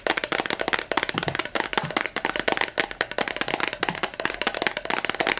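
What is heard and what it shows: A small, clear, heart-shaped glass perfume bottle with a yellow cap is held in both hands and tapped rapidly on its sides with long nails. The result is a dense, continuous stream of sharp, clicky taps with bright glassy highs and a slight ring that dies away almost instantly after each tap.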